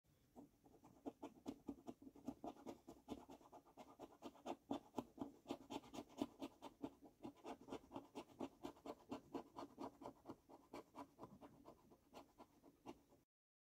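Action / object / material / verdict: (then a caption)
scrape / paper lottery scratch card scraped with a coin edge / paper / none. A coin edge scrapes the silver latex panel of a thin gold paper lottery scratch card, which lies flat on a dark wooden table and is held by fingertips. Quiet, dry scratching strokes repeat at a quick, uneven pace of about two per second. Each stroke is a short, papery rasp centered in the low midrange with bright edges, ending abruptly with no ring.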